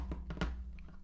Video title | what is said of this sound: Some thoughts about the Galaxy Z Fold 3 (One Month Later) | the phone actually like rocks it doesn't lay flat and then you tap it and it you hear that